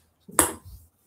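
A new plastic ping pong ball is bounced off a pot, giving two sharp, bright clicks about 0.7 seconds apart with a short ring and a faint rattle between them. The new ball sounds different from the old ones and bounces more, too much for the existing setup.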